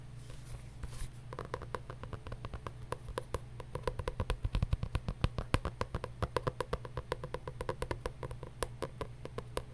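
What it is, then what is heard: Journal being tapped. A paper journal is tapped with fast, light, dry taps in quick succession, each a short crisp click with bright edges and almost no ring. The tapping grows louder and denser around the middle before settling back, over a steady low hum.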